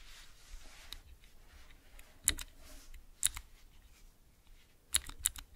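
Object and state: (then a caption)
Mechanical keyboard switch tester. Fingertips with long nails press the clear keycaps on a clear plastic 3x3 mechanical switch tester fitted with Cherry MX switches. Sharp, bright clicks sound at irregular intervals, some landing in quick pairs, over a faint airy hiss, and each click dies away almost instantly.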